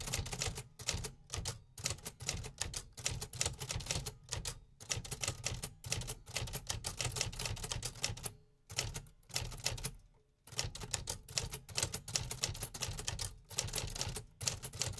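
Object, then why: Metal mechanical typewriter. Fingertips of both hands tap continuously on the keys of a vintage hollow metal 1950s typewriter resting on a wooden desk. Rapid, bright mechanical clacks with a low hollow thump underneath come in quick bursts, with short pauses around the middle of the clip.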